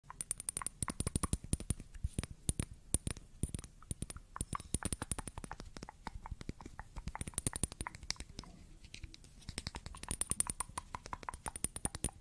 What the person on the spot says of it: Tapping On A Glass Bottle